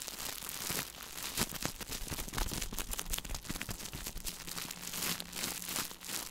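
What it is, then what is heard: Plastic-film food package. Fingertips crinkle and rub a small, shiny plastic-film food package held in both hands close to the microphone. The result is continuous bright crackling and crunching with many short, sharp snaps that die away almost instantly, over a faint steady low hum.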